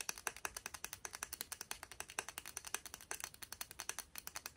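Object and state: Plastic round hairbrush bristles.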